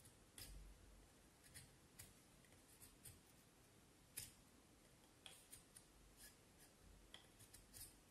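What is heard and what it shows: A small knife blade scrapes and shaves the side of a solid vine wood branch in short carving strokes. Quiet, crisp, bright scraping bursts come at irregular intervals over a faint low rumble, each dying away almost at once.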